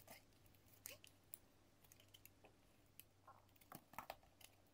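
A metal utility-knife blade scrapes and shaves thin curls off the surface of a solid pink bar of soap with embossed lettering, held in the hand. The result is a quiet, irregular series of short, crisp, bright scratches and clicks that die away almost instantly, over a faint steady low hum.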